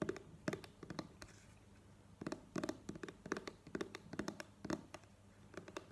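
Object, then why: Plastic cream squeeze tube. Long nails tap quickly and irregularly on a plastic cream squeeze tube, held and then laid on the table. The taps are quiet, dry, clicky ticks with sharp attacks and almost no ring, coming in uneven bursts over a faint low background hum.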